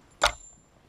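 A single bright, tinny clink as the thin metal lock ring of a clone 26650 battery mod is handled. The ring has grooves that do little to help grip. The short metallic ping fades almost at once, and the ring comes across as cheap and thin.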